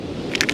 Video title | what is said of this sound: Beachcombing - Tuna Otolith | it's a rattle uh those are the ear bones that are inside the skull